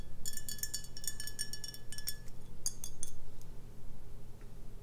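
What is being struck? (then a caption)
Glass beer bottle. Long nails tap around the metal cap and neck of a full, capped brown glass beer bottle. It makes a quick run of bright, glassy clicks and clinks, some with a brief ringing tone around 1.7 kHz. A steady low hum sits underneath, and the taps thin out toward the end.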